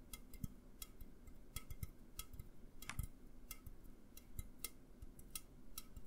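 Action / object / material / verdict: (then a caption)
tap / aluminum drink can / aluminum / none. An upright, hollow A&W aluminum drink can is tapped with fingertips and nails in an irregular series of quick, quiet taps. Each tap is a short, dry click with a bright metallic tick that dies away almost at once, over a soft low rumble.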